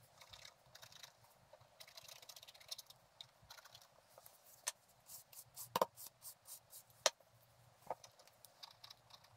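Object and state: Scratch-art paper page.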